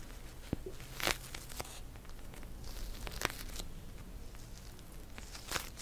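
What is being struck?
Plastic gel bead cold pack.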